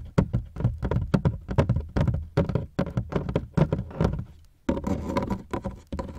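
Fingertips from both hands tap quickly along the ribbed sides of a large, black, hollow hard-shell plastic suitcase, heard from a microphone inside the partly unzipped case. The taps are short, hollow, low thunks with very little ring. Near the end they blur into a denser, continuous patter.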